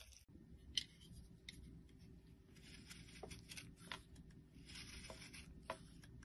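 A small, solid, round yellow bar soap with a carved face design is held in the hand and shaved with a metal utility blade. Soft, bright scraping and crisp shaving sounds pass over a low, steady rumble, with occasional sharp little clicks as the blade catches.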